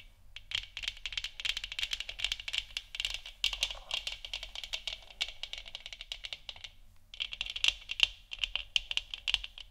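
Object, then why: Hollow 3D-printed plastic lamp sphere. Long nails tap rapidly on the sides and top of a large, hollow, 3D-printed plastic moon lamp sphere lit orange. The result is a dense run of sharp, bright clicks centred around 3 kHz, each dying away almost instantly, with a brief pause near the seven-second mark before the tapping resumes.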